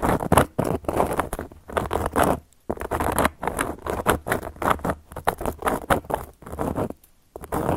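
Long gold metal claw nails tap and scratch across a round, flat, solid cork coaster. They make bursts of dry, rapid patter and scraping with short, damped hits and brief pauses between strokes.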